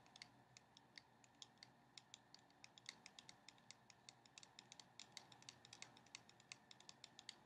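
A small, sealed cardboard box of playing cards, white with a red printed front, is held upright in the hands and tapped with long painted nails. Dozens of quick, dry, bright clicks land in an irregular run over a faint steady hiss. Each tap dies away almost instantly, and the whole clip stays quiet.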